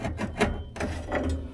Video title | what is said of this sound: RR 1981 aa - suffix - handbrake shoe issues, fitting and getting ready to finish the job Ep4 | There's kind of nothing underneath here. Hear it crunching?